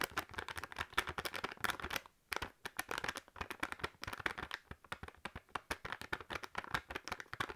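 A sealed foil and plastic snack bag full of crisps is tapped and crinkled with long nails. Rapid, dry, crackly clicks and rustles run steadily throughout, with a brief pause just after two seconds. The sound stays quiet, bright, and close.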